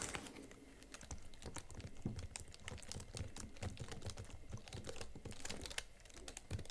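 Both hands type rapidly on the chiclet plastic keys of a slim Huawei MateBook X Pro laptop keyboard, with fingertips and nails tapping the keys. A quick, uneven stream of short, dry clicks with soft low thuds comes through, each tap dying away almost at once.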